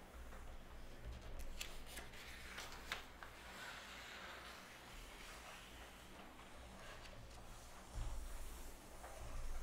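Long red natural nails and fingertips rub and scratch across the thin, flexible pages of an open glossy Cosmopolitan-style magazine lying on a wooden table, and flip them. A soft, steady papery rasp plays over a low hum, broken by a few brief crisp ticks, with a louder rustle of a page flip near the end.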